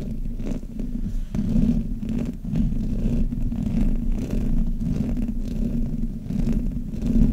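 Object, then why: Metal mesh microphone grille. Fingers and nails rub and scratch the sides of the hollow metal mesh grille on a black Blue Yeti microphone. The result is a continuous low, muffled rumble with a hum-like tone around 150 Hz, broken by faint, brief scratchy bursts.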